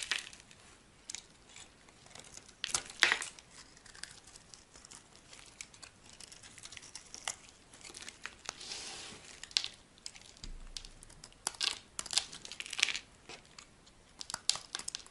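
A solid green oval bar of soap held in the hand is scraped and carved with a metal knife blade. Dense, dry, crumbly scraping and crinkling is heard, with bright, short cuts and crunchy shaving textures that come in quick, uneven bursts and have almost no low end.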